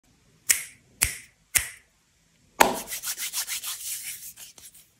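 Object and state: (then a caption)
Plastic candy bag. Fingertips tap three times on a large, flat, purple printed plastic-film Cadbury selection bag full of wrapped chocolates lying on artificial grass, each tap a sharp, bright crackle. The hands then press and grip the bag's edges, producing a continuous run of crinkling, rustling plastic that fades out; closed cans and tubes nearby stay untouched.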